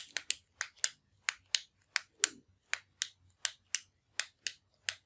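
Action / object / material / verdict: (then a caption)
tap / metal retractable ballpoint pen / metal / none. A slim, hollow, orange metallic retractable ballpoint pen with chrome trim and tip is held in one hand over a wooden desk while the thumb presses its push button to click the mechanism. Fifteen sharp, bright clicks come in loose pairs, each dying away almost instantly against near silence.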